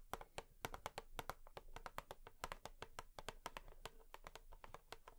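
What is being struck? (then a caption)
Cardboard tissue box. Long nails tap quickly and repeatedly on a cardboard tissue box. Each tap is a short, dry, bright click with a hollow midrange knock and almost no ring. The taps come in an uneven, steady stream throughout.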